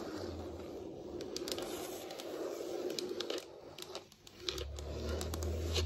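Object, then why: Wood-look floor surface tapped and scratched with long nails. Very long acrylic nails tap and scratch the surface of a large, solid wood-look floor (possibly laminate), with both hands resting on the floor. Dense, crackly scraping fills the clip, with sharp, bright ticks from the nail tips scattered throughout. It dips quiet around the four-second mark, then returns louder over a low rumbling hum.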